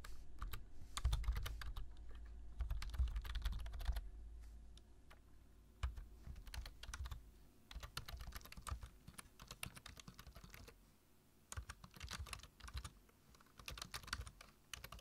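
Fingertips tap the keys of a black plastic low-profile computer keyboard while typing, giving a steady, uneven run of quick, crisp clicks. Each click has a short, bright edge over a soft low thump. The typing pauses and restarts a few times.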